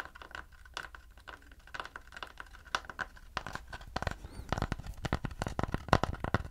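Fingertips and nails scratch and tap the back surface of a round wooden plate held in front of the chest. Soft scratchy rustles mix with dense, quick, dry taps that grow busier and louder toward the end, with a low thud under many of them.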